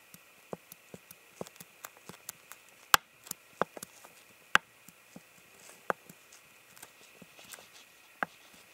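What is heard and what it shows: Fingernails tap and scratch a clear, ribbed, hollow, empty plastic water bottle. The result is a quiet, irregular stream of sharp, dry clicks and taps with a hollow plastic tone around 1.2 kHz and bright edges. A few taps stand out louder than the soft scratching between them.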